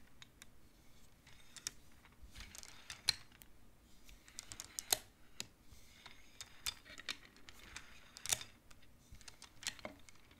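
Fingertips and nails push colored wooden beads along the metal rods of a large wooden-framed abacus, making them clack. The clacks are quiet, sharp and bright, with no ring, coming in an irregular patter with a few louder knocks scattered through.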